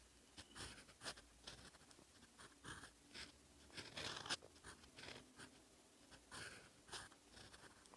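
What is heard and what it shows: A steel fountain pen nib writes in black ink on a lined paper notebook page, scratching across the paper. Short, bright, scratchy strokes come in quick, uneven bursts at a low level, with little low-end body and almost no ring after each stroke.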